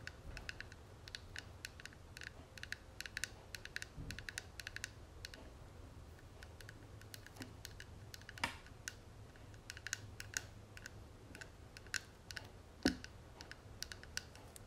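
Fingernails tap rapidly on the front of a closed, hollow gold and tortoiseshell metal cigarette case held in the hand. Quick, sharp, bright clicks with very short ring come in uneven bursts over a steady low hum, with a few louder taps standing out.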